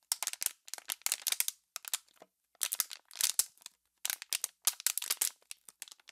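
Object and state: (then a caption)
Plastic water bottle being crinkled. An empty, hollow, clear plastic water bottle is squeezed and crinkled by fingertips and long pink nails. Quick bursts of bright, dry crackling and crunching come in clusters separated by short pauses. The sound is quiet, with almost no low end and very little ring after each crack.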